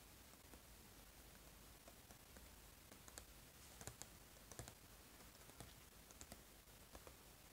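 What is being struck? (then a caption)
Small printed cardboard box. Fingertips tap the back of the same small printed cardboard eraser box while it is held up. The taps are quiet, dry, irregular clicks with no ring, the sharpest ones bright and crisp, over a steady low background hiss.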